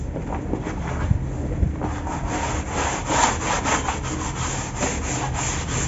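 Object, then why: Dry cement powder in a plastic tub. Bare hands scoop, rub and crumble a large pile of loose dry cement powder in a big white plastic tub, letting it fall and pressing fingers into it. A steady, gritty rustling and grinding fills the clip, with soft low thumps and a brighter, more scratchy texture toward the end.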